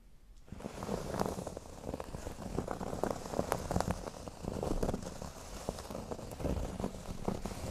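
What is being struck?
Cork board.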